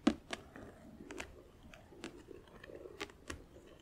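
Long acrylic nails tap on the lid and sides of a closed, hollow, clear plastic compartment organizer filled with press-on nails, held in the hand. Sharp, bright clicks ring out over a soft, low shuffling rustle, each tap dying away almost instantly.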